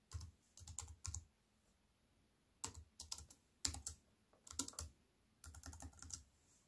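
Fingertips and long white-painted nails tap on a compact wireless keyboard with black plastic keys and a grey metal-look frame, lying flat on a wooden table. Irregular bursts of quick, bright plastic clicks with soft low thuds beneath are separated by short quiet pauses.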